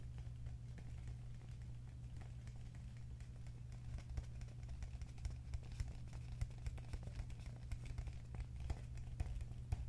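A medium, hollow, apparently empty green plastic cup is held in the hands and tapped and scratched with fingertips and nails. Quiet, rapid, dry clicks and light scratching patter over a steady low hum, with the taps growing sharper and more frequent in the second half.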